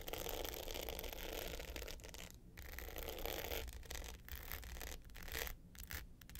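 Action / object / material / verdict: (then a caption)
scrape / hard box clutch with glitter top and metal frame / glitter coating / none. Long nails of both hands scratch the dark glitter top of a small rectangular hard box clutch with gold metal sides, lying flat. The result is a dense, gritty scratching with a bright, hissy texture and a low rumble underneath, broken by a few brief pauses.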